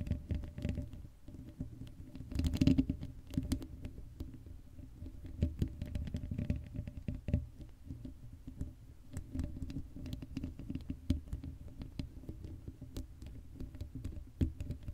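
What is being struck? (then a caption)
Metal mesh microphone grille. Long acrylic nails scratch the hollow black metal mesh grille of a Blue Yeti microphone with no cover on it. The result is a steady, dense run of short, dry scrapes and taps, mostly low and boomy, with a louder burst of scratching a few seconds in.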